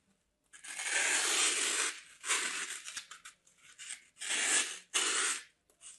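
A large solid chunk of dry green floral foam is held in the hands and carved with a metal craft blade, making bright, crunchy scraping and tearing strokes. Several long cutting passes come in bursts with short pauses between them, crumbling through the foam.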